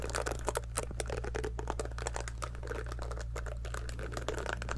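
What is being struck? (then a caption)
Silicone scalp massager brush. Long nails pluck and scratch the rows of soft silicone bristles on a small pink heart-shaped scalp massager brush held near a fluffy microphone. The result is a quick, dense run of dry, bright ticks and crackles over a steady low hum.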